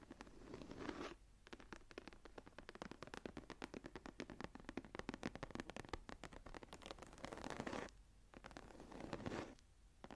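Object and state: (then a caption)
Embossed leather journal cover. Long nails of both hands scratch the raised geometric pattern on a closed, thick brown embossed leather journal lying flat on a table. The result is a quiet stretch of dense, rapid scratching clicks, with smoother rasping swells near the start and around the seventh to ninth seconds.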